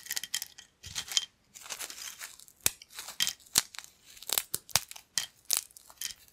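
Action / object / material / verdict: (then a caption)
scrape / thin corn chips / corn / none. Thin, crispy yellow corn chip pieces on a black plate are broken and crumbled by the fingers of both hands. Bright, dry crackling and crinkling comes in bursts, punctuated by many sharp, short crunchy snaps that die away almost instantly, with almost no low end.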